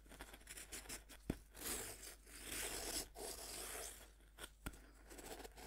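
A serrated metal knife scrapes and saws into the surface of a solid pink pressed-powder bath bomb, held by hand on a wooden board. Dry, gritty, bright scraping strokes rise and fade, broken by a couple of sharp clicks as the powder crumbles.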